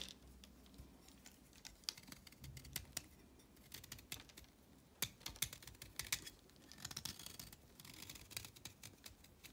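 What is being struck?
Chalk stick.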